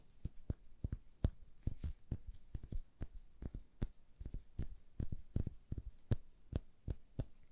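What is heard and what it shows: Gloved fingers with long nails tap and scratch the ridged window grille and sides of a small, hand-sized, red hollow plastic model of a British phone booth. The result is a rapid, irregular series of short, dull, low tapping knocks with faint scratchy clicks between them, each dying away almost at once.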